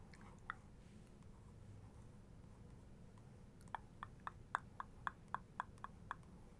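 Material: Paper.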